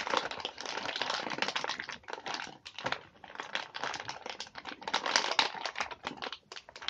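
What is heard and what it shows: A full clear plastic clamshell tray of cookies, in crinkly plastic wrap with a cardboard sleeve, is turned over and squeezed in the hands while fingers rub and crinkle the wrapper. The result is dense, bright crackling and crinkling with almost no low end, coming in bursts separated by brief quieter pauses.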